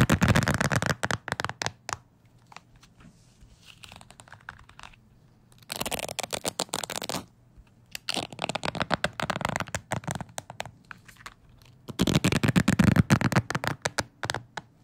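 A fingertip flicks and scratches the bristles of a wooden hair brush, producing rapid bursts of crisp, dry ticking and scratching that spread from low to bright. The bursts come in four clusters separated by near-silent pauses, and each tick stops almost instantly with no ring.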